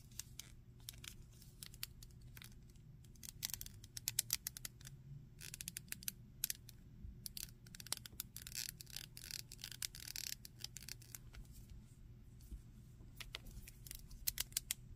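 A hand-sized grey-green alien or monster action figure made of hard plastic with solid PVC limbs is held in the hands while fingertips and nails tap, scratch and squeeze its body and limbs and move its joints. The result is a quiet, dense run of sharp, bright clicks and scratchy crackles with almost no ring, over a low steady hum.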